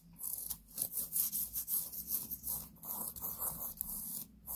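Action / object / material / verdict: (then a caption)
scrape / cotton t-shirt / cotton / none. Long painted nails scratch and rub the chest of a black cotton t-shirt being worn, giving a quiet series of soft, airy rasping strokes that rise and fall, with most of the energy in a bright hiss high above 2 kHz. About ten separate scratching passes stand out, each fading almost at once.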